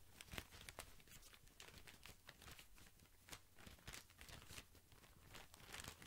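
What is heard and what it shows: A tall white cylindrical pack of cotton pads wrapped in thin plastic film is held up near the microphone while fingertips squeeze and scratch the wrap. The result is a quiet, continuous stream of bright crinkling and crackling bursts with a steady low hum underneath.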